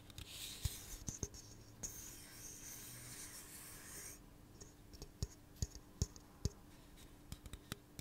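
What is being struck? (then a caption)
Aluminum drink can tapped with fingernails. Fingernails click and tap on the body and bottom rim of a hollow pink aluminum soda can held in the hand. Sharp, quickly fading taps with a bright edge are scattered through the clip, with a stretch of soft, bright scratching in the middle. The sound stays quiet and close throughout.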